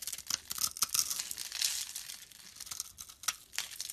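A utility-knife blade shaves curly flakes off a solid dark brown bar of soap held in the palm. Quiet, dry scraping and crackly tearing come in short uneven bursts, almost entirely high and bright with no low end.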